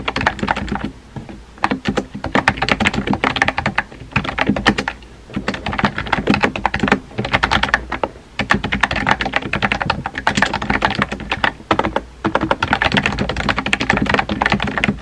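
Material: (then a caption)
Plastic. Fingertips with painted nails rapidly type on a compact, hollow-bodied pink plastic mechanical keyboard with round white-and-pink typewriter-style keycaps, resting on a desk. The result is dense bursts of crisp, clicky key taps with very short decay and a bright, mid-high clatter, broken by brief pauses between runs of typing.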